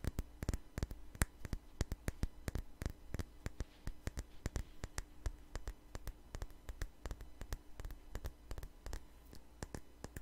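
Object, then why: Small glass perfume bottle. A small glass perfume bottle with a flower-shaped cap, held sideways, is tapped quickly and unevenly with long nails. The taps are sharp, dry clicks that die away at once, over a steady low hum.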